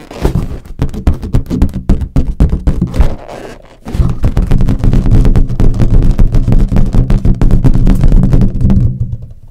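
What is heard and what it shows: Long acrylic nails and fingertips tap and scratch the surface of a large, hollow, air-filled green latex balloon, with a red balloon sitting nearby untouched. A rapid, uneven run of deep, dull thumps with almost no ring is broken briefly by a softer scratching stretch before the tapping resumes and fades at the end.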